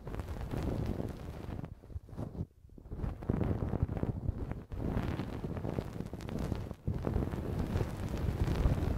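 A thin wooden stick scratches and scrapes inside the soft, hollow canal of a left silicone ear model mounted on a binaural microphone. The result is a dense, muffled, low rumbling crackle with continuous scraping texture, dipping briefly quieter around 2.5, 4.7 and 6.8 seconds before resuming.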